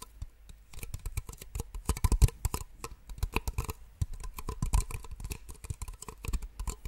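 Two identical small, empty white plastic cups held upside down are tapped rapidly with long nails. Dense bursts of short, sharp clicks come in quick flurries, with a low thump under each tap and a bright tick on top.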